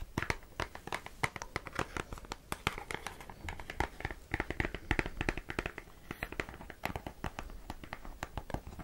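A closed, small rectangular cardboard cigarette box is scratched and tapped with long acrylic nails. The result is a rapid, dense series of short, dry clicks and taps mixed with crinkly scratching over the whole clip.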